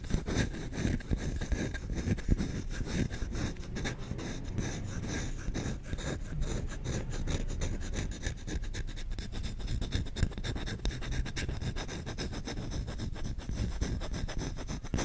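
The solid bowl of a wooden spoon, held in both hands, is scratched fast and aggressively with short nails and fingertips. A dense, continuous run of rapid, dry scratching strokes holds a steady level throughout. Most of its energy is a low, rumbling texture, with faint brighter scraping on top.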